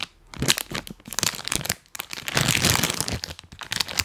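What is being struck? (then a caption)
Plastic snack bag. A full, printed plastic cookie bag is held close to the microphone and crinkled and tapped with rubber toy hands. The result is bright, papery crackling in short, dry bursts with brief pauses, mostly high in tone with a little low thump from the taps.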